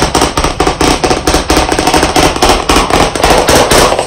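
Fast, continuous tapping with white chalk sticks held in both hands on a medium, solid, flat black chalkboard panel in a wooden frame. Rapid, overlapping sharp clicks and knocks with a mid-range body around 285 Hz and bright edges. They come in quick bursts with short decays and no pauses.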